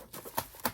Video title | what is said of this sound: Packing Breakables For Shipment as a Seller...The Right Way | If I shake it around, these plates do not rattle. They do not touch.